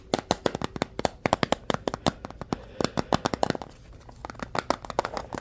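A small hollow square orange plastic container with a translucent side is held in both hands and tapped and scratched with fingertips and short nails. About thirty quick, dry, hollow clicks ring in the mid-range, mixed with a soft scratching hiss. A quieter scratchy stretch near the middle comes before a final run of taps.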